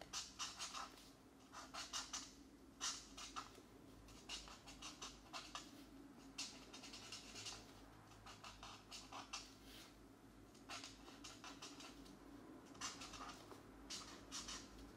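The felt nib of a marker colors a printed mandala page in a paper coloring book lying flat and solid on a desk, one hand holding the page while the other scratches in short strokes. Quick bursts of bright, dry scratching come in clusters over a faint steady low hum.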